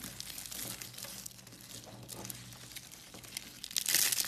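A pile of thin, dried blue and pink carved soap curls, solid and brittle, is crushed and crumbled between the fingertips of both hands. It makes a steady, bright, crisp crinkling and crunching with many small crackles and little low end. A louder, sharper crunch comes near the end.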